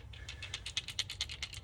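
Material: Plastic.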